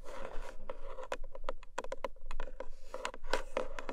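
Long manicured nails of both hands tap and scratch on top of a long, narrow, black lidded cardboard gift box with a textured paper surface, probably hollow. Rapid, crisp taps with a hollow tone around 540 Hz and bright clicky edges mix with a soft, continuous scratching hiss.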